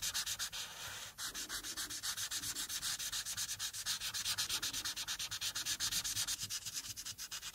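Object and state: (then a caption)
Marker coloring on paper. The felt tip of a white-barrel alcohol marker, held in the fingertips with long painted nails resting nearby, rubs back and forth across a thin printed paper coloring sheet lying flat on a dark clipboard. The continuous coloring strokes make a bright, dry, scratchy rasp that pulses in quick, slightly uneven rhythm, with almost no low end.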